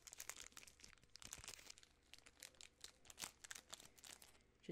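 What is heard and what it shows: A large, full Butterfinger candy bar in its sealed yellow plastic film wrapper is crinkled and squeezed by fingertips and long nails. The result is a quiet, continuous run of sharp, bright crackles and crinkles with little low end and almost no ring after each snap.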